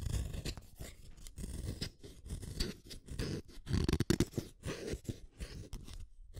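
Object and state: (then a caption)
Wooden colored pencil being sharpened. A red wooden colored pencil is turned against the metal blade of a yellow plastic hand sharpener, and shavings curl off as it cuts. Repeated short, crunchy scraping rasps sound close and mostly low in tone, with quick pauses between strokes.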